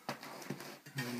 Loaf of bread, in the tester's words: it's very nice it sounds Hollow underneath